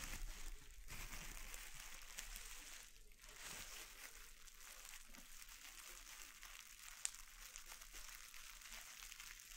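A clear plastic air-bubble wrap sheet lies on a wooden board while flat fingertips press and rub it, crinkling the plastic and popping bubbles. A quiet, steady, bright crinkling hiss runs throughout, with one sharp, brief pop standing out near the end.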